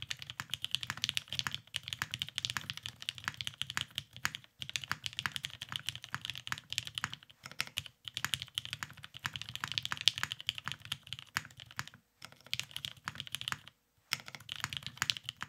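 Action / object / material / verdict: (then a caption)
tap / mechanical keyboard with plastic keycaps / plastic / none. Both hands type continuously with their fingertips on a beige tenkeyless Cerakoted Salamander mechanical keyboard with lubed Vintage Black switches and plastic keycaps, resting on a desk mat. The result is a steady stream of short, bright clacks with a faint low thock beneath, broken by a few brief pauses.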